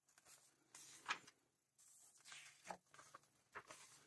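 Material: Paper.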